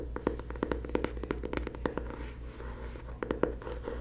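A closed, solid dark blue hardcover paper planner marked PLANS is held upright while long nails and fingertips tap and scratch its cover. Quick, dry clicking taps with a hollow mid-range knock are broken by a quieter stretch of soft scratching, then a few last sharp taps, all over a steady low hum.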